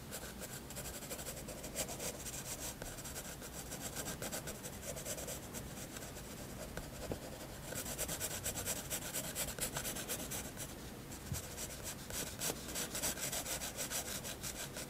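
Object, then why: Graphite pencil on paper sketchbook page. A graphite pencil makes small drawing strokes on a white paper sketchbook page, producing a steady run of soft rubbing and scratching sounds. The strokes have a dry, bright, papery texture and grow slightly louder and denser in the second half.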